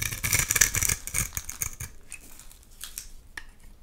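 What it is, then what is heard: Bar soap being scraped. A utility knife blade scrapes shavings off the surface of a solid, hand-sized oval purple soap bar held in one hand. Dense, bright, crackly scraping strokes fill the first two seconds, then thin out into quieter, scattered scrapes and soft ticks.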